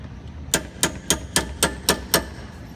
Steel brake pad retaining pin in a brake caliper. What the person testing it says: you can hear the the pitch change when you're hitting it so you know you bottomed out